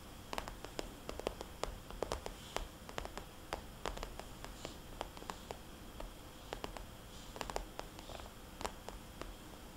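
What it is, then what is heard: Glossy vinyl cosmetics bag. Long nails tap and trace the dots on a small, rounded, red polka-dot cosmetics bag made of glossy vinyl-coated plastic, which feels soft and hollow. Many quick, sharp clicks rise over a low, soft, rustling hiss. The taps are crisp and bright and die away almost at once.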